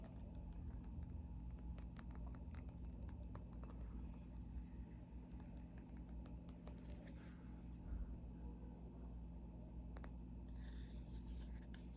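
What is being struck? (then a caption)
Glass skull ornament. A glass skull is tapped, giving light glassy clinks and ticks over a steady low hum. The taps come in irregular clusters throughout, with short ring and no speech heard.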